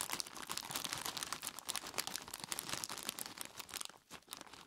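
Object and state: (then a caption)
Plastic bag of ice cubes. Fingertips of both hands squeeze and rub a large clear plastic bag full of ice cubes, crinkling the plastic and crunching the ice inside. A dense, bright stream of crackles and crunches runs with almost no low end, easing briefly near the four-second mark before resuming.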